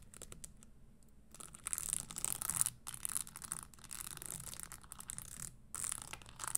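Long nails tap and scratch the insole and spikes of an empty red spiked leather Christian Louboutin stiletto pump held upright on a table. Soft, bright scratching and quick, crisp taps come in uneven bursts. The scratching is loudest in the middle and near the end, with brief quiet gaps between passes.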